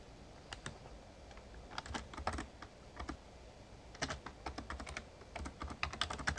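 Fingertips of both hands type rapid key taps on an RGB-backlit plastic Razer Ornata Chroma membrane gaming keyboard with a hollow casing. Bursts of short, dry clicking taps come in clusters separated by brief pauses. Each tap dies away almost instantly over a low, steady background rumble.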